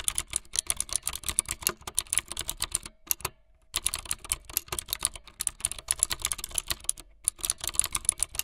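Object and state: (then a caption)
Plastic mechanical keyboard being typed on. Fingertips with long light-blue nails type fast on a full-size plastic mechanical keyboard with white, blue and yellow plastic keycaps and a blue backlit frame. A rapid stream of short, bright clacks runs steadily, breaking off for a brief pause near the middle and again shortly before the end.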